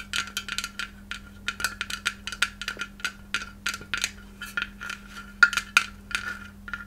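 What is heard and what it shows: Long red nails tap and click on a palm-sized white hollow glass Christmas ornament shaped like a takeout box, with red print and a metal cap. A quick, irregular run of short, bright clicks each carries a brief glassy ring near 1.4 kHz that dies away almost instantly, over a faint steady low hum.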